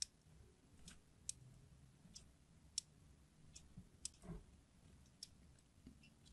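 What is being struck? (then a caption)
Glycerin soap bar scored with a knife tip. A craft knife tip scratches and scores a diagonal grid into the surface of a solid red translucent glycerin soap bar held in the palm. Eight sharp, bright clicks and short scrapes come at irregular intervals over a quiet, low background hum.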